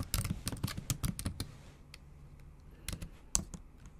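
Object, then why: Laptop keyboard with plastic keys tapped by long nails. Long acrylic nail tips tap the backlit black plastic keys of a MacBook Pro with a silver aluminum body, typing in a quick run of about 12 sharp, bright clicks with short thuds underneath. The burst of taps comes first, then a quiet pause, then a few more clicks near the end.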